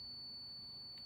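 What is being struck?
Nothing is struck.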